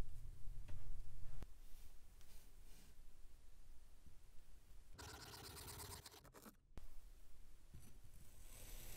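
An iridescent metal knife slices through a solid rounded block of grey speckled kinetic sand, so the layers crumble off. Soft, gritty scraping and crumbling run over a low rumble, with a sharp tick early on. A brighter, rougher burst of grinding comes midway, then a brief drop to near silence, a click, and more crumbling.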